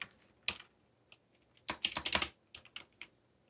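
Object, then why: Mechanical computer keyboard with plastic keycaps. Fingertips tap the plastic keycaps of a backlit mechanical computer keyboard while typing. The clicks are bright and crisp with almost no low end, and each dies away quickly. They come in irregular bursts: scattered single keystrokes, then a quick flurry in the middle of the clip.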